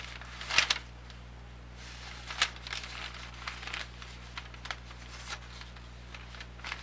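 A large, thin newsprint grocery ad circular is held in both hands while its pages are flipped and bent with fingertips. This gives bright, crinkling paper rustles in irregular bursts, with the loudest crackles near the start, over a faint steady low hum.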